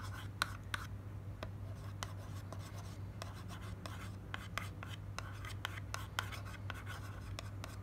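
Long nails scratch and tap the face of a slim white printed paperboard cream box held in the hand. Sharp, bright clicks and dry scratches stand out over a steady low hum, and each tap dies away almost instantly.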